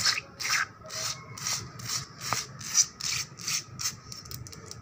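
Long black nails and fingertips scratch quickly and aggressively across a solid, wet painted concrete floor with a puddle on it. The strokes come as a fast, uneven run of bright, hissy scrapes with little low end and no lingering ring.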